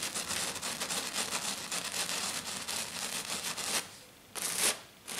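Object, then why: Glitter-covered sheet. Fingers with black nails, clawed on both hands, scratch fast and hard across a flat silver glitter-covered sheet, making a dense, bright, crackly rasp for almost four seconds. After a short quiet pause, another loud scratching burst comes, then it drops away and starts again at the end.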